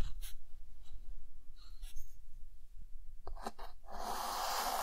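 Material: Chalk.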